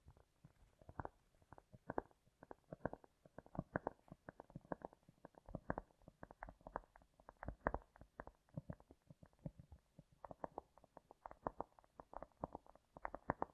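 A piece of cork is tapped and lightly scratched with long nails, with a heavy echo effect applied. Quiet, dull, rapid taps and soft scratches come in quick, uneven bursts, each sound short and low-to-mid in tone with no bright edge.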